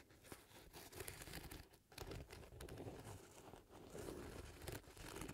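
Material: Leather.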